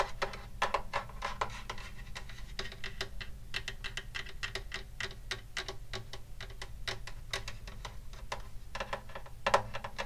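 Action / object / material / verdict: tap / wooden acoustic guitar body / wood / none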